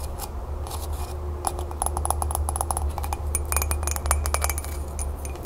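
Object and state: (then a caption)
Ceramic mug tapped and scratched with nails. Long nails rapidly tap and scratch the glazed body of an empty, hollow green celadon ceramic mug held tilted. Quick, bright clicks and scratchy ticks come in dense bursts over a steady low hum.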